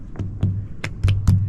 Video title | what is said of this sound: The Spirit of the Buddha in Asia (Documentary) | It sounds sort of hollow. Sounds hollow.